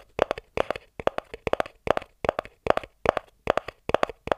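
A small, hollow white cardboard inner box is tapped and scratched on its top and edges with the fingertips and thumbnail. It gives eleven quick clusters of dry, hollow taps with a papery mid-range tone and a brief scratchy texture, each dying away almost at once.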